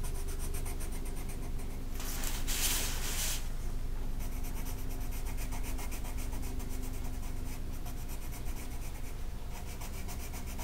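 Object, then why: Colored pencil on a paper sheet. A green colored pencil rubs across a flat paper mandala coloring sheet, making steady, quick, scratchy strokes, with a brighter, rougher stretch of shading early on. The coloring continues in a fast back-and-forth rhythm over a constant low hum.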